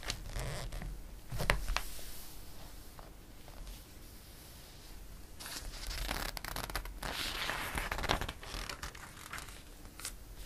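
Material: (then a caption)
Glossy paper. A flat palm and fingertips rub the pages of an open glossy paper catalog, making soft, dry swishing and rustling with bright crinkly bursts. A page is turned with a louder rustle and crackle of paper.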